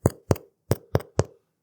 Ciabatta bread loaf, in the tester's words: It's hollow. That means it's fully baked.